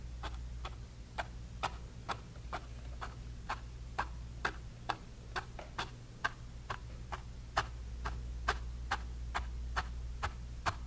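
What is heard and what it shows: A bristle brush stipples grey paint onto a small canvas panel with 25 light, quick taps at a fairly steady pace of about two per second. Each tap is a short, dry click centered around 800 Hz with a bright edge, over a constant low hum.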